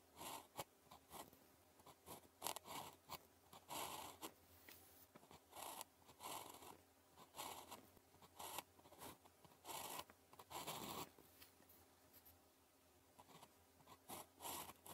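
A blue plastic ballpoint pen, held in the fingers, writes on a thin grid-printed calligraphy practice sheet lying flat on a desk. Its tip makes continuous scratchy strokes in short bursts with brief pauses, giving a dry, papery rasp centred in the mids with some high hiss. The strokes are quiet, with no low-end weight.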